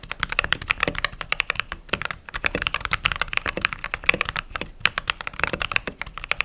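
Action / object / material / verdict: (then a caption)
tap / mechanical keyboard with plastic keycaps / plastic / none. Fingertips type steadily on a mechanical keyboard with white/cream plastic keycaps, producing a rapid stream of short, sharp clacks. The keystrokes are bright and crisp, centered around 2.5 kHz with very little low end, and each one dies away almost instantly with no ring.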